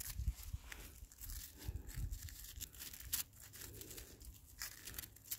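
A small handful of crystalline snow that has turned to ice is squeezed and crushed by fingers in a black fabric glove, crumbling into granules. The clip is a quiet stretch of irregular crunching and crackling, with low muffled thumps under bright, gritty bursts that come and go throughout.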